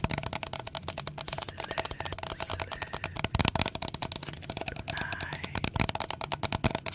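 A hollow, medium blue plastic bottle with a red cap is held in the hands and tapped quickly with fingertips and nails. It makes a rapid, steady stream of dry, crisp clicks that die away at once, with a hollow low thud under bright ticking.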